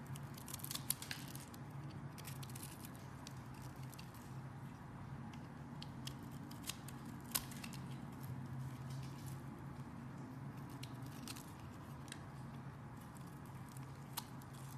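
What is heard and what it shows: A box cutter blade scrapes a solid purple bar of soap, held in the hand and scored in a grid, into small cubes. Crisp, bright scraping clicks and short crumbly ticks come at irregular intervals over a steady low hum.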